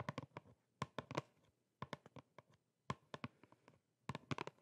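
A small, flat, hollow printed cardboard box is held in both hands and tapped and scratched with long painted nails. Four quick bursts of dry, hollow taps give short low thumps with crisp bright clicks that die away almost instantly, with brief scratchy rustles in between. The sound is quiet and close.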